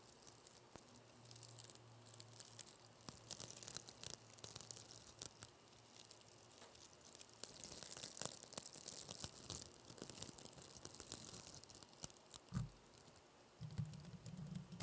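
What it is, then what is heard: Plastic velcro hair rollers being scratched. Two small, empty, hollow blue plastic mesh velcro hair rollers with a bristly hook surface are held close to the microphone and rubbed and scratched with long painted fingernails and fingertips. A quiet, steady stream of crisp, high scratchy crackles and fine rasping ticks runs throughout, with a brief low rumble near the end.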